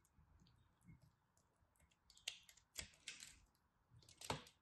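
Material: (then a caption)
Soap. A small, solid chunk of glittery pressed soap is held in the fingertips and cut with a craft knife blade. Soft, faint scraping gives way to a few sharp, crisp, bright snaps and crackles as the blade bites through, each fading quickly at an uneven pace.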